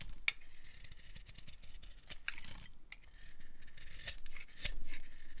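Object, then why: Bar of soap cut with a knife blade. A utility knife blade carves the edge of a dry, solid pale green bar of soap into strips, making dry, crisp scraping and shaving sounds. Bright crackling bursts and sharp little clicks come at an irregular pace over a soft, steady rasp, with the loudest snaps near the start and end.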